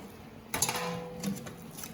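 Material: Breaded squid.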